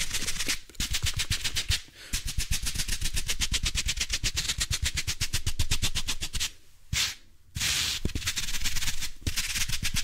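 A palm-sized blue foam kitchen sponge with a textured scrub side, soft and compressible, is held in both hands close to the microphone and squeezed, twisted and rubbed with the fingertips and palms. The result is fast, steady scratchy crackling strokes, bright and hissy on top with soft low thumps underneath. The strokes break off briefly around two seconds and for about a second near the seven-second mark.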